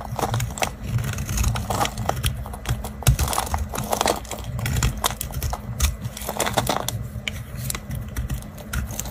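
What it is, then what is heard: Dry bar soap scraped with a knife. A knife blade scrapes and cuts crumbly flakes from a solid, dry, round orange bar of soap held in the fingers. Dense, dry crackling and crunching scrapes come in quick bursts over a steady low hum. Each sound is brief and dies away almost at once.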